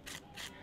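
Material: Fried potato.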